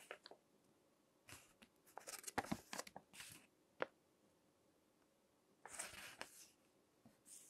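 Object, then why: Glossy paper magazine pages. Fingertips turn and crinkle the pages of a crinkled glossy paper magazine resting on a table. Quiet, dry crackles and short papery snaps come in scattered bursts, with a few longer, brighter rustling swishes as pages move. Brief pauses of near-silence separate them.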